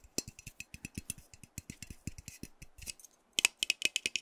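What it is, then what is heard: Metal aerosol spray can. A hand-sized, hollow metal aerosol hair spray can with a pink plastic cap is held and tapped with fingernails. The result is a fast run of about 20 short, dry, bright clicks with almost no ring. The taps pause briefly near the end, then return as sharper, louder ticks with a pitched metallic tone.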